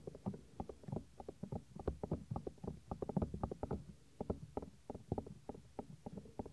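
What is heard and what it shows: Fingertips with medium-length nails rub and scratch over the soft white silicone ear of a hand-sized 3Dio binaural microphone mounted on a plastic ring. The result is a rapid, irregular stream of short, muffled scratching and thumping strokes. They are heavy in low rumble, with almost no bright top end.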